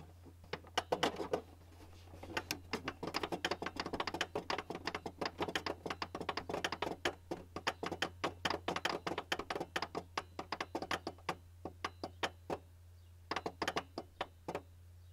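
Fingertips and nails of both hands tap and knock in a quick, irregular flurry on the top and front edge of a hollow white plastic Canon printer housing. Dozens of short, dry clicks and hollow knocks ring out bright and die away almost instantly, over a steady low hum. The tapping pauses briefly near the end before a final burst.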